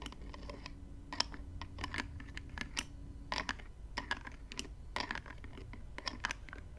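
A small clear plastic spray bottle filled with gold-glittery liquid is lifted slightly by hand while long nails rapidly tap and scratch its black plastic cap. The result is a steady run of short, dry, bright clicks, like typing, with faint scratching between them over a low background hum.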